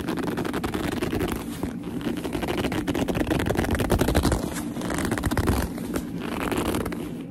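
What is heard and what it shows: Long nails rub and grip a black leather purse with a seam, making the leather squeak. A dense, continuous run of rapid squeaks and scratchy rubbing fills the clip at a fairly steady level, weighted toward low and mid tones with little high brightness.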